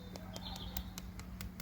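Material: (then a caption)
Stone. Stone coping tiles, just bonded to a koi pond wall with MS300 sealant, are tapped in a steady series of short, dry, sharp clicks with almost no ring, over a low background hum. The taps sound solid, with no hollow spots, showing the tiles are well bonded.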